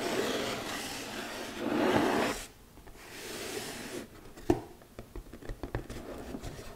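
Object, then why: Glitter-covered cardboard gift box. Long nails rub and scratch the surface of a flat, hollow red glitter cardboard gift box held upright. A steady, papery rasping swells for the first couple of seconds and then drops to a quieter rub. It ends with a series of short, sharp scratches and clicks.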